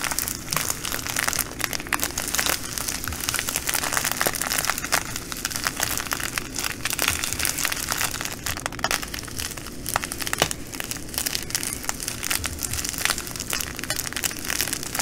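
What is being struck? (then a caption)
Plastic bag of glass beads. Long nails scratch and scrunch a plastic bag of green glass bugle beads resting on a table. The result is a steady, dense crinkling with bright, crackly clicks and a faint low hum underneath, continuing throughout without pause.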